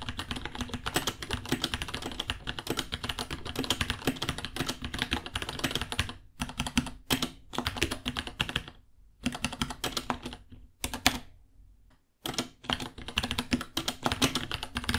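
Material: Plastic.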